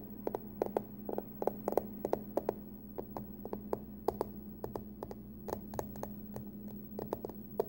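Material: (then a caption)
Aluminum. Long nails tap and scratch the front face of a closed, hollow, glossy pumpkin-print printed aluminum hard-shell card-case wallet. Quick, dry clicking taps with very short ring come in an irregular stream over faint scratching and a steady low hum.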